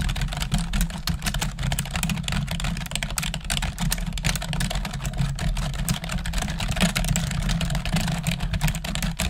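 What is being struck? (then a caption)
Plastic computer keyboard. Two hands type steadily on a full-size black plastic computer keyboard with a hollow housing, using long acrylic nails. The rapid run of bright clicky taps sits over a constant low rumble and hum that fills the bottom of the sound.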